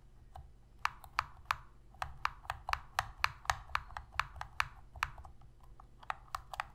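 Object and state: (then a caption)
Plastic game controller. Long red fingernails tap and press the buttons of a hollow black plastic Sony PS3 controller held in both hands. The result is an irregular run of short, dry plastic clicks, about four per second, with a hollow midrange knock and a bright edge. A faint low hum sits underneath.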